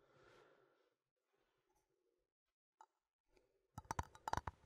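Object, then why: Small metal coffee tin. A small cylindrical metal coffee tin with a printed label is held in both hands and tapped with fingertips and nails. Faint soft rustling and a lone click come first, then a quick, uneven burst of sharp metallic taps with a short, bright ring.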